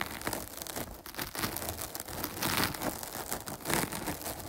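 Long nails scratch and pitter-patter across the top and sides of a dark, soft, porous foam microphone windscreen. The result is a close, crinkly rustle of scratching broken by soft, irregular tapping bursts, spread from a low rumble up to bright hiss, with no ring after each touch.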